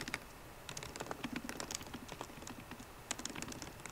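Fast typing on a MacBook Pro keyboard, with both hands striking the plastic keycaps on its hollow aluminium body using fingertips and long painted nails. Quick, dry, bright clicks come in dense bursts over a soft thud, with a brief lull before a sharp keystroke restarts the run.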